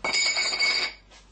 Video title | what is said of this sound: Piéce jumbo 7.5 cm - lepetitmagicien.com | ça fait plus on dirait, casserole. Ouais, casserole. En fait, ça, c'est un alliage limite aluminium